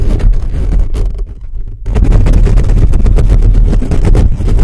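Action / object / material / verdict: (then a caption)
scrape / metal mesh microphone grille / metal mesh / none. Fingertips rapidly scratch and tap the top of a hollow black metal mesh microphone grille. The result is a loud, dense, boomy rumble of scraping, heavy in the low end with only faint bright hiss. The scratching briefly thins out in the middle before resuming at full intensity.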